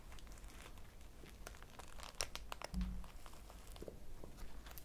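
A small, soft, solid polyurethane foam squishy toy shaped like a cake slice, with pink icing, yellow crumbs and an orange topping on a phone strap, is held in both hands, squeezed and scratched with long painted nails. Quiet, crinkly scratching and bright, dry ticks sound over a low rumble, with a brief muffled thump near the middle.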